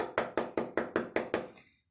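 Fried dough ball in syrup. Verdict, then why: Crispy. A piece of crispy fried lokma dough ball soaked in syrup is tapped about eight times in a steady rhythm. Each tap is a dry, hollow, wood-block-like knock with a short crisp decay, and the last one is fainter. The crunchy sound shows the ball is crisp on the outside, and the syrup has soaked all the way in.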